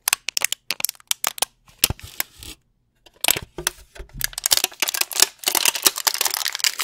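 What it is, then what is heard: Plastic candy tray crinkled. A brown plastic candy tray is pressed and crunched with fingertips and nails close to the mic. Sharp, bright plastic crackles and clicks start as separate snaps, pause briefly, then build into dense, continuous crinkling and crunching.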